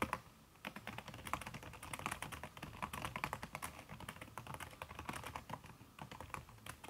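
Fingertips and long red nails type fast on a backlit aluminium laptop keyboard fitted with a red silicone key cover. The result is a dense, continuous stream of soft, short clicky taps with brief brighter nail ticks.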